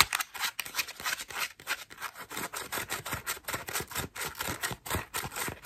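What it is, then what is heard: Foam bath loofah. Long nails scratch and pluck the petals of a cream foam bath loofah. A quick, uneven series of short, dry, bright scratching and crackling bursts follows, with little low end and almost no ring after each stroke.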